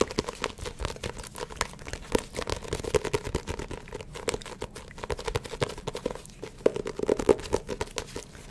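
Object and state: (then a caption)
Paperback book tapped and scratched with nails. A small, closed paperback Spy x Family manga volume with a glossy paper cover is held up close to the microphone and tapped and scratched across the cover with long acrylic nails. The result is a dense run of quick, crisp clicks and dry, crinkly scratches with a faint midrange resonance, with a few sharper, louder taps standing out.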